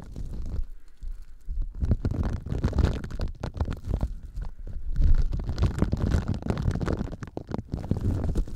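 A hand-sized, solid yellow Scrub Daddy polymer foam sponge is squeezed, scrunched and rubbed with the fingers close to the microphones. It makes a dense run of short, low, rumbling crunches and squelches, with nearly all the energy deep in the bass and brief quiet gaps between bursts.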